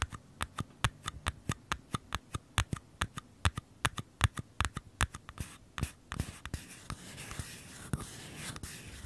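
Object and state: Empty paper cup.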